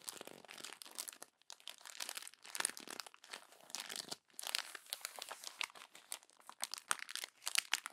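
Fingers with long nails crumple and turn the pages of a glossy paper magazine. Dense, bright crinkling and crackling come in quick bursts with brief pauses, with almost no low end. Each crackle cuts off sharply.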